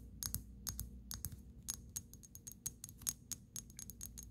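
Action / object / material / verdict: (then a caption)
tap / small glass dropper bottle tapped with fingernails / glass / none. Long pink acrylic nails tap and scratch rapidly on the shoulders of a small amber glass dropper bottle with a black cap, partly filled with dark liquid. About 22 quick, bright clicks with a thin glassy ring stand out over a quiet low hum, each dying away almost instantly.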